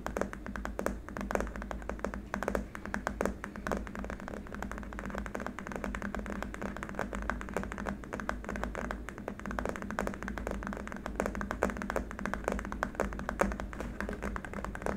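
Both hands tap fast with fingertips and short nails on a long, flat, solid white hard-plastic keyboard wrist rest. The result is a dense, steady stream of quick, dull clicks over a constant low hum near 200 Hz, with almost no bright content and very short ring.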